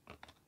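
A fake plastic driver's license card is dropped so its edge strikes a surface, giving two quick, quiet taps. The taps sound dull and not crisp, with a short midrange knock and little high ring, unlike a genuine card.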